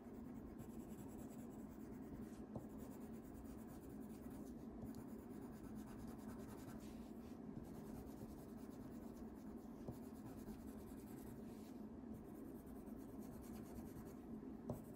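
A blue wax crayon is rubbed steadily across a thin printed paper coloring page lying flat on a wooden table, with the other hand resting on the sheet. The sound is a continuous, low, soft scratching and rubbing. A few faint sharper ticks stand out from the steady texture.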